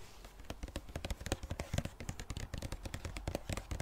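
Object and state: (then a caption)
Plastic cosmetic tube. Long dark nails tap and scratch a hand-sized pink-red Balea plastic squeeze tube with a gold cap. A quick, steady run of short, dry plastic clicks with bright edges plays over a soft low rumble, and each tap dies away almost instantly.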